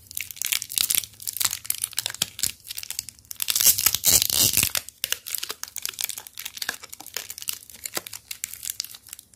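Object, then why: Chocolate bar in plastic foil wrapper. A small, full KitKat chocolate bar in a red plastic-foil wrapper is held in both hands while fingertips squeeze and crinkle the wrapper. Dense, bright crackling and crinkling builds to a louder tearing burst near the middle as the wrapper is torn open to show the foil inner lining, then settles into lighter, irregular crinkles.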